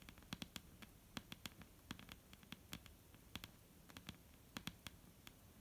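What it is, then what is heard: Wooden table top, solid. Long painted nails of both hands tap on a solid, dark brown wooden table top. The result is a quick, irregular patter of short, dry clicks with a bright edge and a low woody knock around 234 Hz. Each tap dies away almost instantly.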